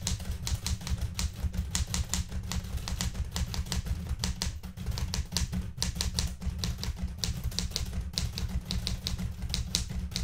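Fingertips with red nails type on the plastic keys of a blue metal portable manual typewriter. A fast, steady run of sharp, bright key clacks sits over a dense low thump and rumble, each strike dying away almost instantly.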